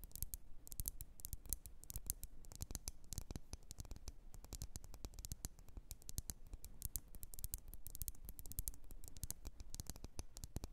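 Long nails tap and scratch quickly across a lit, wax-filled red glass candle jar. The sound is a steady stream of dense, dry, bright clicks with short scraping strokes, each tap stopping almost at once, over a soft low thud.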